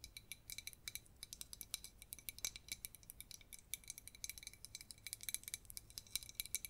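Long red nails tap rapidly on the sides and black plastic screw lid of a clear jar filled with glitter foam strawberries. The result is a quick, uneven run of soft, bright, dry clicks, each dying away almost instantly with no ringing.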